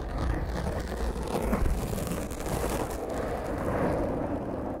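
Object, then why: Foam microphone windscreen. Long fingernails of both hands scratch and rub a black foam microphone windscreen, producing a continuous, muffled, rumbling scraping noise. The sound is dominated by deep low-end thumps and crackles with little bright content, and stays at a steady level throughout.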